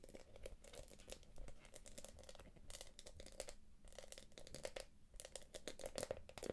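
Long nails tap and scratch the quilted top of a small, hollow, light-blue glossy quilted plastic purse. The result is a quiet, continuous stream of crisp crinkly ticks and scratchy rasps with bright clicky edges. A faint steady tone sits around 500 Hz underneath.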